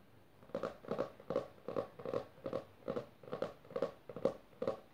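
Long dark-painted nails on both hands quickly tap and scratch the textured maroon cloth or leatherette-covered board cover of a solid, closed hardcover book lying on purple fabric. The result is a quick, fairly steady run of short, dry, scratchy taps with a muted mid-range tone and almost no ring.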